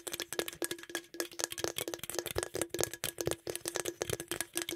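Fingertips and nails rapidly tap and scratch the body and top of a green aluminum beverage can held close to the microphone. The result is a fast, irregular series of short, bright clicks and rattling scrapes with a hollow metallic ring and a steady low tone underneath.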